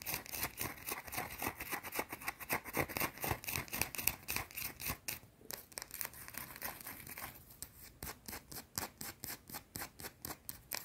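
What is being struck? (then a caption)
Bar of soap. A small, round, solid white bar of soap is held in the hands and scratched quickly with long, dark teal painted nails. The result is a fast, steady run of short, dry, bright scratching strokes, roughly four per second, with most of the energy in the upper range and little low end. Each stroke stops sharply with no ring.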